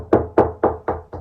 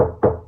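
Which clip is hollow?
The second.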